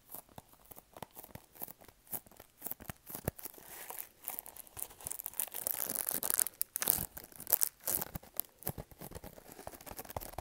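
A small, hollow, printed pink cardboard product box is held in both hands and tapped and scratched with fingertips and nails. Quick dry taps mix with bright, crinkly scratching. The scratching thickens into a louder, continuous rasp in the middle before breaking back into short, separate taps.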